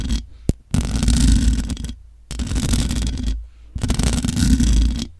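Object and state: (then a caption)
Nails scratching a metal microphone grille. Long nails scratch the hollow metal mesh grille of a large black microphone, producing three rough, scraping bursts with a heavy low rumble beneath a faint bright hiss. A brief sharp click comes just before the first burst, with near silence in the gaps between them.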